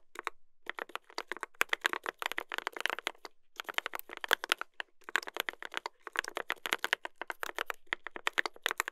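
Two hands type continuously with their fingertips on a mechanical keyboard with a brass plate and plastic keycaps. The result is rapid, crisp, clacky keystrokes in dense bursts with short pauses between them. Each key strike is sharp and dry, with a bright top and almost no low end.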